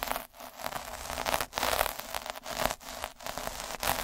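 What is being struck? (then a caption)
Felt sheet rolled with a metal-needle roller. A metal-needle derma roller is rolled by hand across a red felt sheet on a dark table, making a dense, bright crackling scrape. The rolling comes in a series of strokes separated by brief dips, each stroke a gritty, static-like rustle with little low end.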